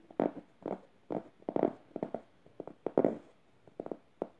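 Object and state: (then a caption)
Fingernails scratching a plush fabric pillow. Red-painted fingernails scratch the soft plush fabric and felt tongue of a medium yellow stuffed emoji cushion. Short, irregular bursts of dry, muffled rasping, with energy mostly in the low-mid range, are separated by brief quiet gaps. Each scratch stops cleanly with almost no ring.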